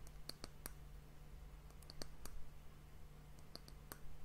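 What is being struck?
Wooden hourglass end cap.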